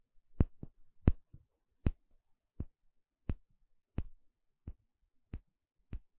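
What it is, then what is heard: Bamboo bowl. A small, shallow, empty bamboo bowl held in one hand has its inner surface poked and scratched with a thin plastic pick. Ten short, dry clicks and taps land at uneven intervals, each dying away almost instantly with a dull, low-weighted thud and a faint scratch between some strikes.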